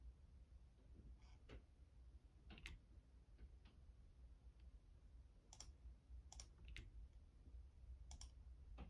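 Fingertips of one hand press and tap the keys of a full-size, hollow-bodied black plastic Logitech membrane keyboard resting on a desk. Soft, short clicks with bright tops come in irregular bursts over a steady low hum. The overall level stays quiet throughout.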